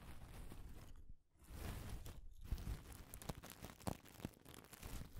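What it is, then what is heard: Pile of dry wooden pencil shavings. Fingers with long decorated nails rub, crinkle and rummage through a loose pile of thin, dry wooden pencil shavings. The result is a soft, continuous crinkling and crunchy rustle with brief quiet gaps near 1.2 and 2.3 seconds. It is followed by sharper crackles in the second half.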